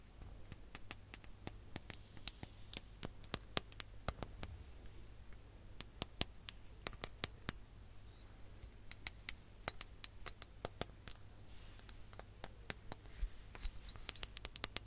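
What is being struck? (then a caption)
Ribbed glass hourglass with sand. Long nails tap a ribbed glass hourglass filled with sand, held horizontally over the mic. Dozens of quick, bright glassy ticks and clicks come in irregular bursts, each dying away almost at once. A steady low hum runs underneath throughout.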